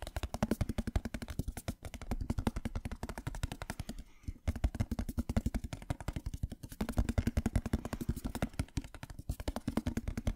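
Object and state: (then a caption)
Metal tin box tapped. A small, hollow, patterned printed metal tin is held close to the microphone and rapidly tapped with fingernails. The result is a fast, steady stream of short, dry clicks with a hollow low body and almost no ring. The stream pauses briefly about two and four seconds in before resuming.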